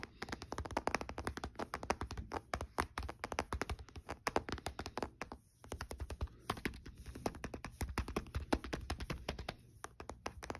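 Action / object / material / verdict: tap / plastic handheld game console / plastic / none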